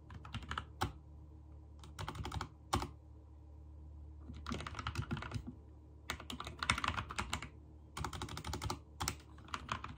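Fingertips type on a backlit mechanical keyboard with white and teal plastic keycaps. Clicky key presses come in quick bursts separated by short pauses, over a steady low hum.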